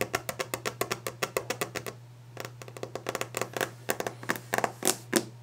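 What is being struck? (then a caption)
Varnished wooden desk top. Long, clawed nails drum rapidly on the solid, polished top of a varnished wooden desk, giving about thirty sharp, bright clicking taps that die away almost instantly. The taps come in fast runs with a brief pause near the middle, over a faint steady low hum.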